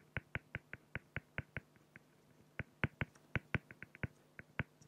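A felt-tip pen makes rapid short strokes on a flat, clear acrylic plexiglass sheet, filling in a drawing of a beak on the plastic. About twenty quick, dry scratching ticks are heard. Each is sharp and brief with almost no ring, coming in an uneven rhythm with a short pause midway.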